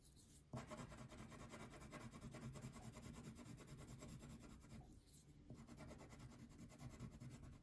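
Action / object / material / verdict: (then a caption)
scrape / wax crayon on thin paper / paper, wax / none. A red-pink wax crayon shades a thin paper coloring sheet lying on a table. Quick, steady back-and-forth rubbing strokes make a dense, scratchy rasp. The strokes start softly, stay continuous, briefly ease off near the end, then pick up again.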